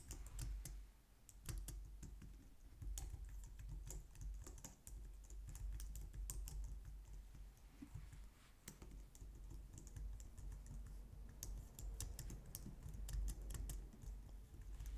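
Long painted nails and fingertips type on a low-profile white/light-grey plastic wireless keyboard resting on a glitter mat on a wooden desk. The result is a steady stream of quick, bright plastic taps and clicks with short decays, over a constant low rumble.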